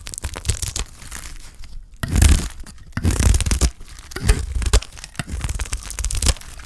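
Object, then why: Bar of soap scraped with a blade. A utility knife blade scrapes across a solid, thick block of dry green soap, shaving off curls. Heard as a run of dry, crackly scraping and crunching strokes with a dull, low-heavy body and no ring, the louder shaves coming in bursts.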